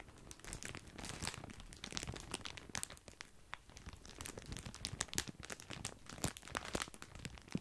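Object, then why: Plastic bag of breadsticks. A large, full, white printed plastic bag of grissini breadsticks is crinkled with the fingertips. The result is a dense, continuous run of crisp, bright crackles and crunches with sharper snaps scattered throughout.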